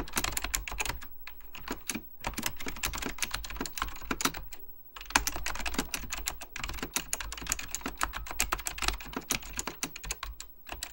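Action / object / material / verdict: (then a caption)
tap / plastic mechanical computer keyboard / plastic / none. Fingertips type rapidly on an Apple Extended Keyboard II, a plastic mechanical computer keyboard with beige plastic keycaps and a hollow plastic case. Dense, bright, clacky key taps come with short, dry decays, broken by a couple of brief pauses, over a steady low hum.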